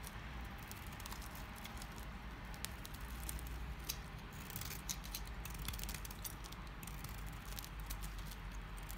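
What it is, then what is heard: Dry household soap bar. A utility knife cuts and scrapes flakes from the edge of a solid, dry green household soap bar. Crisp, bright scratchy clicks and crackles pepper a steady low rumble, with small flakes snapping off throughout.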